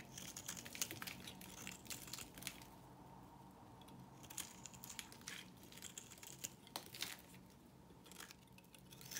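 A knife blade carves and scrapes thin flakes from the face of a solid white, rectangular, hand-sized soap bar held in one hand. Soft, bright, crunchy scraping comes in bursts with quieter pauses between strokes, over a faint steady tone. The scraping swells again at the end.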